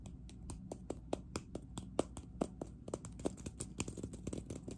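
Long acrylic nails from both hands rapidly tap and scratch a hollow, green, matte-textured ceramic cup. The result is a fast run of short, dry clicks with a low hollow body around 320 Hz and almost no ring, over faint scratchy rustling.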